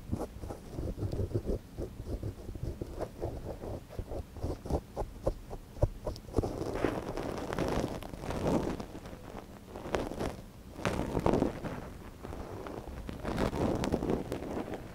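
A thin wooden ear pick scratches inside the canal of a small, hollow white silicone dummy ear on a binaural microphone, held in a gloved hand. The first six seconds bring quick, close, rustling scrapes, followed by longer, softer swishing rubs with a muffled low rumble underneath.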